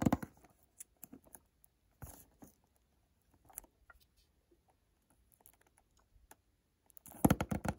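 A small white cardboard eau de toilette box is held on its side while fingertips and nails tap quickly on its face. Soft, dull taps and light scratchy patter come in scattered bursts with quiet gaps between. The clip ends in a louder, denser flurry of taps.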